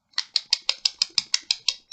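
A plastic dispensary pre-roll cylinder with a joint inside is shaken as a joke to mimic a graffiti spray can. The joint rattles against the tube in 11 quick, evenly spaced, bright clacks with very short decay and almost no low end.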